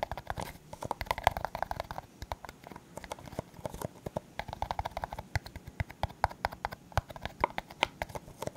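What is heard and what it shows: A hollow, empty clear disposable plastic cup, held sideways, is tapped rapidly with the fingertips and nails. The result is a steady run of quick, dry clicks and taps with a hollow plastic tone around 700 Hz. Each tap dies away almost instantly, with occasional brighter nail ticks.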